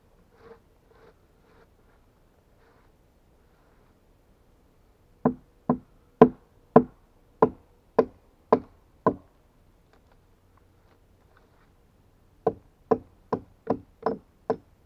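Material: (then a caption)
Pine wood. A steel axe knocks and chops against the flat hewn face of a solid pine log. After a few faint taps, there is a run of eight sharp, dry wooden knocks, a pause, then six more. Each blow is short and woody with almost no ring.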